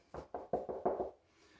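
Six quick knocks on a ceramic floor tile that has been down a while and is fully bonded to concrete give short, dull midrange thuds with little ring. It sounds solid, the way a freshly laid tile will once it dries.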